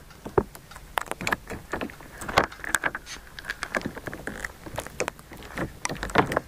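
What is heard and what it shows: A hand-sized sheet of clear green jelly slime, soft and solid, is squeezed, folded and stretched with both hands and fingertips just above the recorder. It makes a steady stream of short, wet squelches, sticky clicks and pops with a faint airy hiss between them. Each sound dies away almost instantly.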